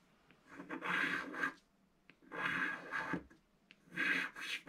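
A wooden stylus scratches the centre of a black coated scratch-art card in a book, making three long raspy rubbing strokes separated by short pauses. The scraping is dry and bright, centred around 1.6 kHz, with almost no low end.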